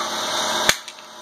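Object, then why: Acrylic plastic sheet. A sheet of flexi-glass, an acrylic plastic that is like glass but made of plastic, is dropped on the floor and lands with a sharp, bright clack, then gives a second, softer tap as it bounces. The sheet stays unbroken, and a steady background hiss fades lower after the impact.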